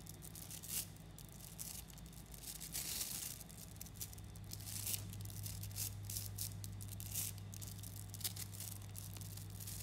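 Fingertips squeeze a clump of about 11,000 small coated 3mm neodymium magnetic balls, then pull a chain off it. Rapid, bright clicks and snapping crackles run throughout over a steady low hum.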